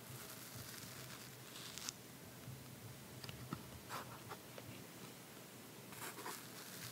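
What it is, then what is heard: Cardboard box tray. Fingertips and nails scratch and tap the inside of an open red cardboard box base with a white paper lining, held in one hand. Quiet, bright papery scratching runs throughout, broken by three short, sharp taps and a few louder brushing bursts.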